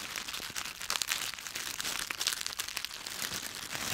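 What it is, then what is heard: Dry autumn leaves being crushed. A handful of dry yellow-green autumn leaves with stems is crushed and twisted in both fists. The result is a steady, dense, bright crackling and crunching with many rapid dry snaps and almost no low end.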